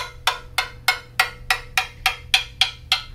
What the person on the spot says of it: you tap along a tube and you listen for any dead spots or soft spots